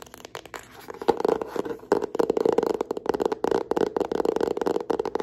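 Long nails tap and scratch the front cover of a hand-sized yellow hardcover notebook with bound pages and an elastic band, held upright. The result is a dense run of quick, dry, muffled taps mixed with scratchy rustling, centred on a mid-range knock around 450 Hz that dies away almost instantly.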